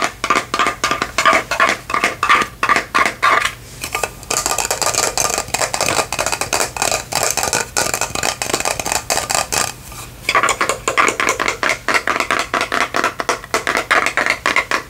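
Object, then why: Faceted plastic lantern jar with lid. A faceted clear plastic lantern jar with a white lid and lights inside is tapped with long fingernails on its sides and lid. The result is a rapid stream of bright, hollow plastic clicks with a faint ring near 1.2 kHz, which blur into a denser, continuous patter through the middle of the clip before separating into distinct taps again.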